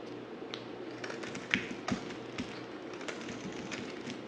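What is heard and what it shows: A dry, solid white stamped bar of soap held in the hand is shaved with a yellow utility knife blade. Soft, irregular scraping and crisp ticking cuts run throughout, with two sharper, louder cuts near the middle. The soap gives a bright, dry crackle over a quiet hiss.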